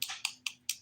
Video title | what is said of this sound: The Daily Nail: Valentine's Dip Powder Nails #diynails #dippowdernails #dipnails | you hear that Hollow sound if you hear like a you don't hear a clack and you just hear like a soft kind of sound they're not ready